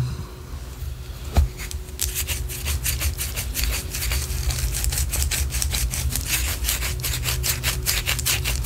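A white solid wax pillar candle, held sideways, is scratched with long orange acrylic nails. After a soft thump and a quiet start, a fast, steady run of bright, crisp scratching strokes sets in and continues to the end over a constant low hum.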